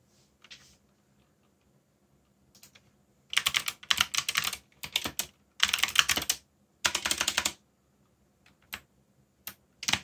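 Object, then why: Plastic mechanical keyboard. Fingertips type on a backlit mechanical keyboard with black plastic keycaps, producing short, bright, clicky keystrokes with almost no low end. After a few isolated taps, dense bursts of rapid typing fill the middle of the clip, separated by brief pauses, then trail off into scattered single clicks.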